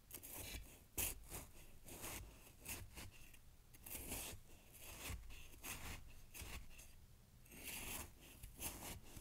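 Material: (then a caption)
Snow. A knife blade is stabbed and dragged through fresh snow packed in a glass jar, giving repeated crunchy cutting and scraping sounds. The quiet strokes have a bright, crisp grain over a faint low rumble.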